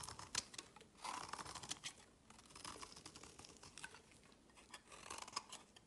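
A solid pink and white striped bar of soap, held in the fingers, is scraped and cut with a utility blade, leaving shavings on a woven mat. Quiet, bright, crisp scraping and crackling comes in a rapid run of short bursts, with stronger strokes near the start and again toward the end.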